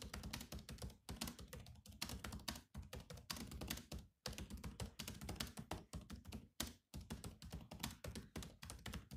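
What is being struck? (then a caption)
Plastic laptop keyboard keys. Rapid fingertip typing on the black plastic keys of a grey laptop's plastic keyboard. Dense runs of short, clicky taps with a low, thumpy body, broken by brief pauses between bursts.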